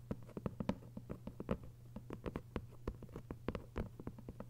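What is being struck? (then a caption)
Hardcover book with paper dust jacket. Long acrylic nails tap and scratch across the paper dust jacket on the front cover of a closed, thick hardcover book lying flat. The result is a quick, uneven patter of soft, dry clicks with short scraping strokes in between, over a steady low hum.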